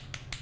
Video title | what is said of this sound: The Right Way To Select And Eat A Raw Oyster | you can tap them they sound solid if they sound a little Hollow it may not be great